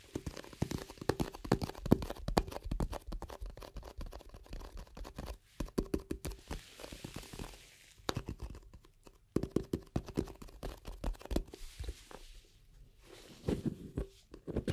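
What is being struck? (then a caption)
Round plastic cream jar with lid. A round plastic cream jar with a black lid is held in both hands, tapped and scratched with long nails while the lid is handled. Dense bursts of soft, dull tapping and scratchy crackling come in clusters with brief quiet gaps, mostly low in tone with a faint hollow resonance.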